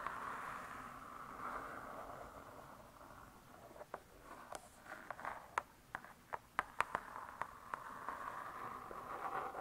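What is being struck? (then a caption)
Laminated hardcover book cover. Long nails scratch and tap the closed, laminated hardcover of a spiral-bound cookbook. A soft, hissing scratch gives way to a run of sharp, dry taps with almost no ring, then returns to scratching at the end.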